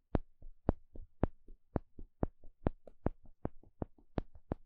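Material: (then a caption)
Wood. A flat, thin, solid wooden spatula-shaped paddle stick is poked and scratched with a small plastic pick. It makes a quick series of short, dry taps and clicks, each with a soft low thump and a bright crisp edge that dies away almost instantly. Louder and softer taps alternate at a steady pace of roughly two per second.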